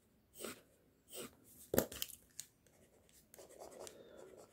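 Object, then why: Pencil lead on a sheet of drawing paper. The tip of a pink mechanical pencil, held in the fingers, rubs and scratches short hair strokes onto a flat white sheet of drawing paper that bears a line sketch. Separate bright, dry scratches come in quick bursts, with a sharper tick in the middle. They settle into a steadier, softer run of scratching at the end.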